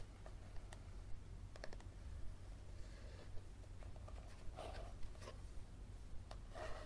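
A yellow paperback book with a card cover is held near a table while fingernails scratch and tap along its spine. Soft, irregular taps and short scratching strokes sit over a steady low hum. Six distinct taps stand out, each with bright clicking edges that fade quickly.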